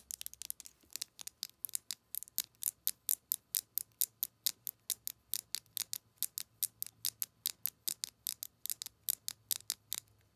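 Long acrylic nails tap and scratch along the barrel of a slim white plastic Colourpop Lippie Stix lipstick crayon with a gold cap and a hollow tube. About 47 sharp, bright, high-pitched clicks come in a quick, steady rhythm, each cutting off instantly with no ring and almost no low end.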